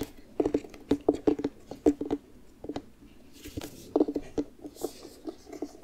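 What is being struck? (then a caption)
Carved pumpkin rind. A medium orange pumpkin, carved into a jack-o'-lantern and hollowed out empty, is held in both hands while fingertips and nails lightly tap and pat its rind. The result is a run of soft, quick, hollow knocks with a low-mid resonance around 300 Hz, coming in uneven clusters with short pauses between them.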